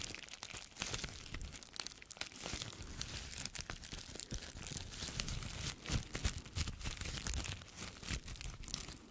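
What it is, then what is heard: Plastic bubble wrap. A small sheet of clear plastic bubble wrap with air-filled bubbles is held in both hands close to the microphone and squeezed, crinkled and popped with the fingertips. The result is a steady, dense crackle of bright crinkling, broken by frequent sharp, short pops at an uneven rhythm, over a low handling rumble.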